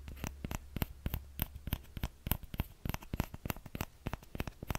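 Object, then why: Small plastic ladle. A small orange plastic ladle is held by its thin handle while fingertips and nails of the other hand tap and scratch its empty scoop close to the microphone. A quick, uneven run of sharp, dry clicks and scrapes sounds out, each dying away almost instantly with bright crackly edges over a low hum.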